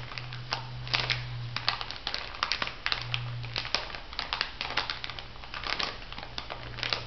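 A small clear plastic bag full of white bath salt granules, held upright, is squeezed and scratched with fingertips and long nails. The result is a dense run of sharp, bright crinkles and gritty crunches over a steady low hum.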